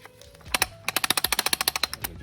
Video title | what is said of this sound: FIRST START UP ON MY E46 BMW AFTER REBUILDING MY M54 ENGINE PART 8 | you can hear it flapping